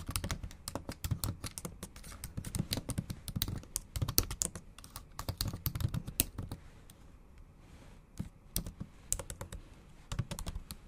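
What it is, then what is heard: Laptop keyboard with plastic keys. Long acrylic nails type fast on the black plastic keys of a MacBook Pro keyboard set in an aluminum body. The result is a dense run of sharp, bright clicks and clacks over a low thud, with a brief lull near the eighth second before the typing picks back up.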